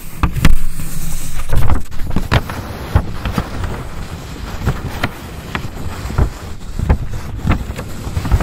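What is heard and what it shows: Long white nails scratch and tap along the page edges of a paper notebook, then across a flat page. Dry, rustling scratches run throughout, broken by short, sharp taps that die away almost instantly. The sound is full and heavy in the low end, with very little high brightness.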